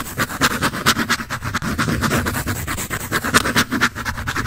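A graphite pencil scratches and shades across a large sheet of white drawing paper on a sketch pad with a red back cover, held upright. It makes a steady run of quick, dry, raspy strokes with a bright papery hiss centered around 1.5 kHz. Each stroke cuts off sharply with almost no ring, as expected from the flat, thin sheet.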